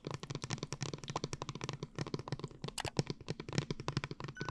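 Long nails rapidly tap and scratch a tall blue plastic glitter water bottle held upright and filled with liquid. The result is a quick, uneven stream of short, dry clicks with a low, hollow body, mixed with brief crackly scratches and some brighter ticks.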